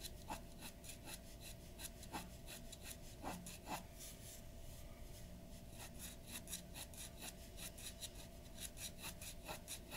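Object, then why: Glass dip pen nib on a paper sheet. A glass dip pen nib scratches ink strokes across a large white paper sheet lying flat on a wooden desk. Quick, dry scratching strokes come in a steady, uneven rhythm, each a bright rasp over a faint constant low hum.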